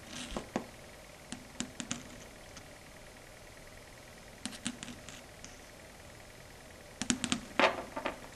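Long red stiletto nail tips tap and lightly scratch a flat, dark grey, matte surface of a solid chalkboard. Short, sharp, bright clicks come in three loose bursts separated by quiet pauses, with a brief scratchy stroke near the end.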